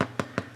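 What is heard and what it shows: Four quick, dull knocks on a freshly baked homemade bread loaf give a hollow sound with almost no ring. The hollow sound shows the loaf is baked through and ready, which its colour and a centre temperature of 189°F against a 185°F target confirm.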